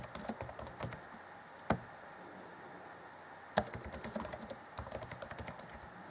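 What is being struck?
Plastic laptop keyboard keys.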